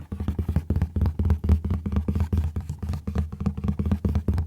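Fingerpads tap rapidly on the inner cardboard flip-top box from an oat milk package, producing a quick run of soft, low, dull thuds with very short decay. The slits in the box's side keep it from being fully closed, giving the taps a more hollow, echoey sound.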